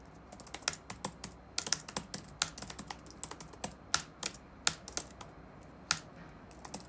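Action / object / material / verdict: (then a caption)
tap / plastic laptop keyboard / plastic / none. Fingertips tap on the black plastic keycaps of a dark laptop keyboard resting on a wooden desk. Around 26 quick, dry, bright clicks arrive at an uneven typing pace, each dying out almost instantly over a faint low background hum.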